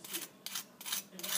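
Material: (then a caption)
Fried batter. Fried battered food crackles as it is pressed, producing bursts of high, dry crunching as a test of a good batter. The batter has fried up crisp and crunchy.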